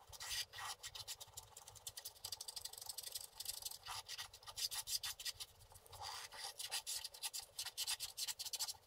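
A wooden stylus rubs and scratches the coating off a flat, solid, book-page-sized scratch-art paper card along the dragon's back. The result is a steady run of quick, dry scraping strokes, bright and hissy with almost no low end. The strokes rise and fall in short bursts with no ring after each one.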